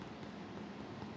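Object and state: Nothing is struck.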